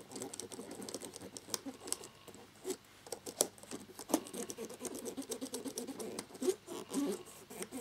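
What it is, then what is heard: Plastic laptop keyboard being scrubbed. A cotton swab held in the fingers scrubs the gaps between the keys of a black plastic laptop keyboard with its keycaps on. Dense, quick rubbing and scratching with small, dry, plastic ticks and bright, hissy edges runs throughout at a soft level.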